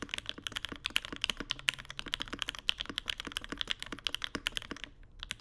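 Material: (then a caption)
Plastic, aluminum. A Mode Sonnet mechanical keyboard with Vermilion Bird switches, an aluminum plate and white plastic keycaps, set on a deskmat on marble, is typed on continuously with the fingertips of both hands. A rapid, uneven stream of short, bright, clacky keystrokes with almost no low end dies away almost instantly, with a brief lull near the end.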